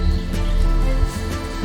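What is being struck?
Nothing is struck.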